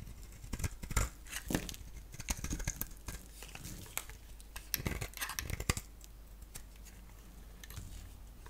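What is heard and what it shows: A solid soap bar with a black shell and a green core is held in the hand and shaved with a box-cutter blade, taking off the black shell. Dry, crisp scraping and flaking strokes come in bursts with bright edges, busiest in the first six seconds, then thinning to soft, quieter scratches.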